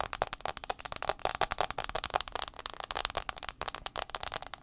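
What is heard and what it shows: Fingernails tap fast on the front glass screen of an iPhone 6s. The result is a rapid, uneven stream of short, dry clicks with a bright tone around 730 Hz and almost no ring or low end.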